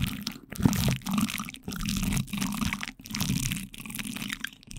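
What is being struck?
Plastic cling film stretched over a mesh grille.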